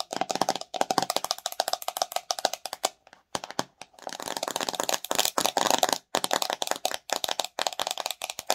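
Long nails rapidly tap and scratch the white plastic lid and body of a pink-filled plastic watermelon slime jar. The result is a dense run of dry, clicky plastic taps with bright scratchy edges and a hollow mid-pitched tone, each tap stopping almost instantly, broken by a few short pauses.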